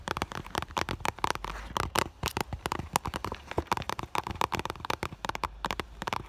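Long nails tap quickly on the front of an iridescent clear vinyl (holographic PVC) school bag with an item visible inside. The result is a dense run of crisp, dry plastic clicks with a midrange tone around 1.3 kHz and a faint low rumble underneath. Each tap dies away almost instantly.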